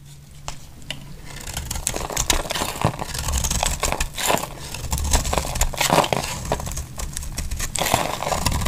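A utility-knife blade shaves many thin flakes from the face of a solid, dry, pink embossed bar of soap held in the hand. Dense, crisp scraping and crinkling crackles run throughout, with bright, papery shaves and a low rumble underneath. The sound builds from quiet to steady, fairly loud scraping.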